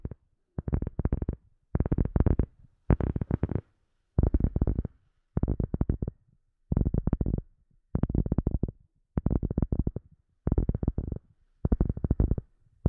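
A rubber sheet is tapped with quick runs of soft taps, falling into about ten short bursts separated by brief pauses. Each tap is a dull, low thud with almost no ring, so the sound stays muted and heavy in the bass.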